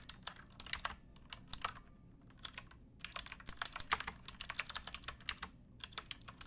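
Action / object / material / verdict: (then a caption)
tap / plastic mechanical keyboard / plastic / none. Fingertips with painted nails type on a pink backlit plastic mechanical keyboard with round keycaps and a hollow case, resting on a wooden box. The keystrokes are bright, sharp clacks with almost no ring and little low end. They come in uneven bursts with a brief pause near the middle.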